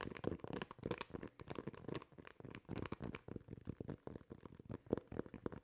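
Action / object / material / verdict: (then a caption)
scrape / rubber basketball shoe outsole / rubber / none. Fingernails scratch the tread on the textured rubber outsole of a basketball shoe. The result is a quiet series of short, dry, rasping bursts with dense crinkly texture, mostly low-to-mid in tone and with little brightness. Each scrape stops dead, with no ring.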